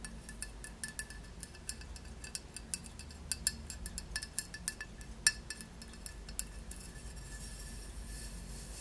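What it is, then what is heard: Glazed ceramic tile, solid. Long nails tap the glossy glaze of a solid, square glazed ceramic tile, producing a quiet, irregular string of short, bright clinks. The clinks have a ringing tone near 1.7 kHz over a steady low hum, and each one dies away almost instantly.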